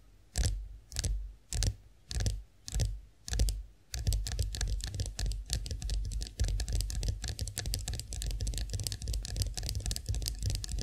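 Long acrylic nails tap the smooth handle of a chrome-finished face roller standing upright. Six slow, separate clicking taps come first, then a fast, continuous flurry of bright, short clicks over a low thud.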